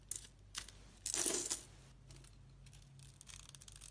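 A metal utility knife blade scrapes the colored mosaic squares off a solid rectangular white bar of soap held in the hand. Bright, crisp scraping and crackling strokes come in short bursts, with the longest and loudest scrape in the middle. Lighter, gritty scratching follows toward the end.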